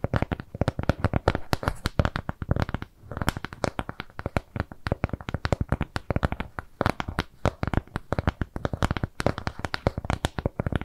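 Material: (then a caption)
Cardboard. Long nails scratch and tap a flat, round brown kraft cardboard shape with jute trim. A steady stream of rapid, dry, low-heavy taps with little ring mixes with scratching, pausing briefly near the three-second mark before continuing.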